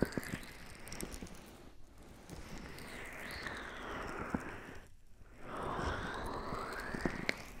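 Hands with long pink acrylic nails cup and rub the soft, hollow silicone ear shells of a binaural microphone, using fingertips and nails. Close, muffled rubbing and swishing sweeps fill the clip, with scattered crisp taps and crackles and a couple of brief near-silent pauses.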